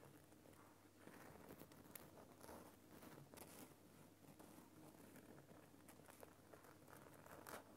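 Fingers scratch and tap the rough surface of a large, solid lump of glowing pink Himalayan rock salt in a lamp. The result is a quiet, continuous dry scratching and crinkling texture with soft taps and bright flicks scattered through it. A faint, steady low hum sits underneath.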